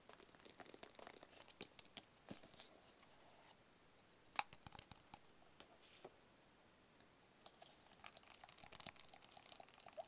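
Fingertips and short nails tap on a small, hollow white cardboard product box. The result is quiet, dry, crisp clicks and scratchy taps, mostly high in tone, that come in busy clusters with a brief lull in the middle.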